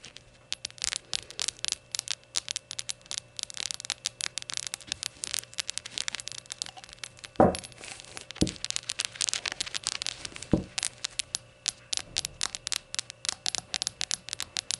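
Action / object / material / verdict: tap / small glazed ceramic shot glass / glazed ceramic / none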